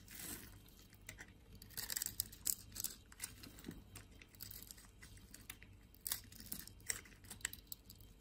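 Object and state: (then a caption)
Bar of soap being carved. A palm-sized, solid orange-and-white striped bar of soap, held in one hand beside a green soap, is scraped and carved with a metal blade so flakes come off. Quiet, bright, crisp scraping and crackling bursts come in irregular strokes with little low end, each stopping short with no ring, and louder cuts land around 2.5 and 6 seconds.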